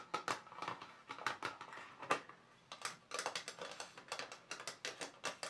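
Fingertips and nails of both hands rapidly tap on the lid compartments of a small, black, glossy plastic watercolour paint box that is closed and hollow. The taps come as quick, uneven clusters of sharp, bright, hollow clicks with a mid-range plastic tone, each dying away almost at once. A brief lull comes near the middle before the tapping picks up again.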